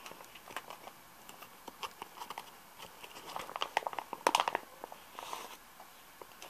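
Repeated light tapping on a plastic tub of Nivea Soft moisturizing cream, the brief, dry clicks sounding in irregular clusters with the loudest burst near the middle.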